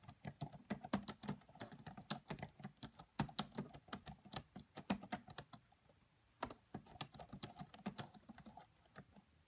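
Fingertips with long French-manicured nails type with both hands on the black plastic chiclet keys of a red laptop with a hollow body. They make rapid, bright, clicky taps with short, dry decays and a light hollow thump underneath. The typing pauses briefly about two-thirds of the way through and then resumes at a steady pace.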